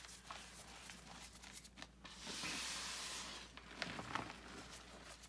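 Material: Chalk powder.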